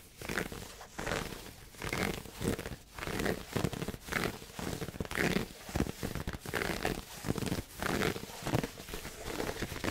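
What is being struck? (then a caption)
Pleated satin heart-shaped gift box. Fingertips scratch and rub the pleated fabric lid of a hollow red pleated satin heart gift box held at the mic. The result is close, dry scratching and rustling in rapid, uneven bursts that swell and fade.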